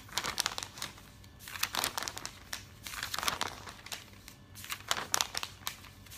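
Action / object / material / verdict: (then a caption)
scrape / thick glossy paper catalog pages / glossy paper / none. Fingertips with nails rub the pages of an open, thick glossy paper catalog, lifting and turning them quickly. Bright, high crinkling comes in bursts of sharp rustles and page flips, with quieter rubbing between them.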